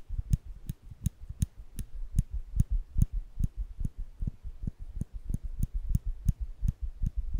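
Small, solid stainless steel nail clippers with the lever flipped open, held by the fingers close to the microphone, are clicked and snapped at the lever and jaws. The result is a quick, slightly uneven series of short, dry clicks, each with a bright snap on top and a soft low thump underneath, over a quiet background.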